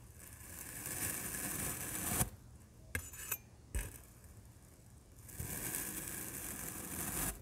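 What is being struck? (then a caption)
Kinetic sand block cut with a metal knife. A large printed metal knife slices through a solid black kinetic sand block, making soft, crumbly tearing and scraping sounds with bright, hissy texture. Between the slow scraping passes come a few brief sharp clicks.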